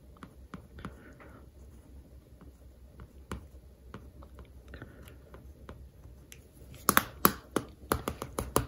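Faint dry ticks and soft scratches, then sharper clicks: a plastic pen tip tracing over a glossy paperback cover.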